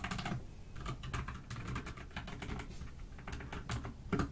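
Two hands with long nails type continuously with their fingertips on a full-size pastel pink, blue and cream mechanical keyboard (dust silver D84) with plastic keycaps, resting on a white desk. A steady, rapid stream of short, deep clacks with a heavy low-end thock and only a little brightness, each keystroke fading quickly.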